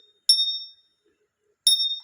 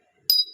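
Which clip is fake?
The second.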